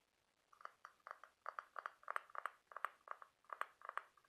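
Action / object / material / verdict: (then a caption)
tap / scallop seashell / shell / none. Fingernails tap and scratch across the ribs of a large white ribbed scallop half-shell held in both hands. Quiet, dry clicks about 20 in all, some closely doubled, come at an uneven pace with a faint scratchy texture between them. Each tick sits in the mid range near 1.2 kHz with bright edges and stops at once with no ring.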